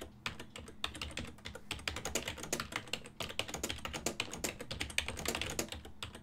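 Fingertips with medium nails type continuously on a full-size black and silver plastic desktop keyboard with a hollow housing. The result is a rapid, dense stream of bright, short plastic clicks and taps that die away quickly, over a faint steady low hum.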